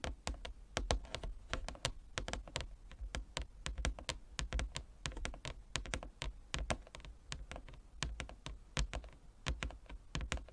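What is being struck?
Inlaid wooden chess board.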